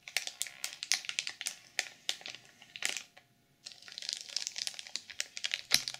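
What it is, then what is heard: Plastic-wrapped sequin journal, scratched and tapped. Long purple nails scratch and tap the cover of a black sequin-covered journal sealed in clear plastic film, producing a rapid series of bright, crinkly scratches and sharp clicks. The sound stops for a short silent pause midway while the hands rest at the edges, then the crinkling taps resume.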